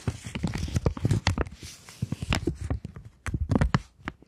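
A polymer £20 banknote held in both hands is folded, flexed, tapped and scratched with long nails. Close, dry crackles and sharp taps come in quick irregular bursts, each dying out almost instantly, with a soft thumpy low body and brief bright clicking edges. The handling pauses briefly just after three seconds, then resumes in another flurry of crinkles and taps.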